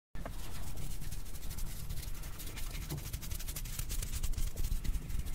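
Long blue acrylic nails scratch and tap the hollow black metal mesh grille of a handheld-size, rhinestone-covered microphone mounted in front of a car steering wheel. A steady, dense crackle of scratching and quick taps runs throughout, with a deep low rumble underneath and faint bright ticks on top.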